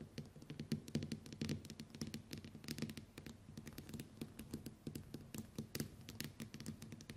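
Long white nails tap rapidly on the glass screen of a small, flat smartphone lying face up on a table. The result is a quiet, dense patter of short, clicky taps with a soft low thump under each one and almost no ring after it.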